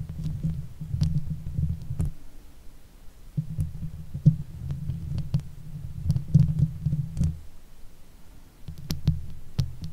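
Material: Metal mesh.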